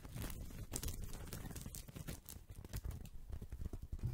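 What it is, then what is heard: Woven straw coaster. A small, round, flat woven straw or rattan coaster, solid and thin, is held in one hand near the microphone and scratched and tapped with fingertips and nails. The result is a steady stream of dry, crinkly scratching and soft patters over muffled low thumps, staying close and quiet throughout.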